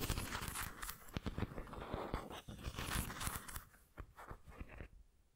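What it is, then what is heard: Ceramic pineapple figurine scratched with nails. Long nails scratch along the textured body of a white ceramic pineapple figurine held sideways. The result is a dense, dry rasping full of sharp clicks and bright crackle over a low rumble. It thins out and fades toward the end.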